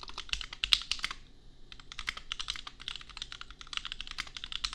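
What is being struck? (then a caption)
Plastic mechanical keyboard. Two hands type with their fingertips on a compact $250 custom mechanical keyboard with Gateron Milky Yellow switches and red and pink plastic keycaps. A rapid run of short, bright clicks breaks off in a brief pause near the one-second mark, then resumes at a steady pace. Each click is crisp and dies away at once, with little low-end weight.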